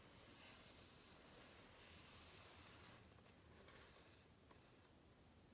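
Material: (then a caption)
Paper. Hands rub along the page edges and surfaces of a large open hardcover book with glossy paper pages. The result is a quiet, steady, breathy hiss of paper friction. The first half is slightly louder, and faint light scratches and ticks come through the second half.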